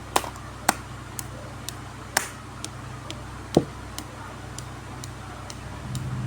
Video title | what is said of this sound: Media “Suara Cerita” Dapat Mengembangkan Kreativitas dan Daya Juang AUD. | ini seperti suara ketukan pintu